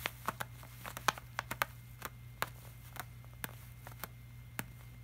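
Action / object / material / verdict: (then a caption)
tap / glossy laminated paper poster / laminated paper / none. Fingertips tap and rub the surface of a flat glossy laminated art print, the hand wearing a silver bracelet. About fifteen short, crisp, bright taps land at an irregular pace, with soft rubbing between them over a faint steady low hum. Each tap stops almost instantly, leaving no ring.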